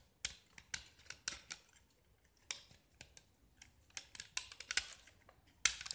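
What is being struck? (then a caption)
Painted gypsum block scraped with a metal blade. A small solid gypsum block with a green painted diamond-pattern face is held in the hand while a metal utility knife blade scrapes and carves its surface, sending flakes falling. About fourteen short, sharp, bright scraping crunches come at an irregular pace, with quiet gaps between them and almost no low end.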